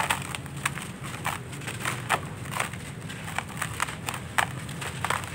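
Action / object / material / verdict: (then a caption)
scrape / sandy clay lumps / sandy clay / none. Bare hands crush and crumble lumps of dry sandy clay in a red plastic basin, breaking them down into dusty grains. Dense, crackly crunches and gritty rustling come in quick bursts with a bright, dry edge over a low steady rumble.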